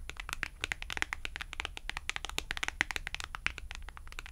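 Acrylic nails scratch the edge and tap the face of a thin white and red cardstock clothing price tag held at the fingertips. A rapid, uneven stream of crisp, dry clicks and papery scratches is heard, each bright and gone almost instantly, over a faint steady low hum.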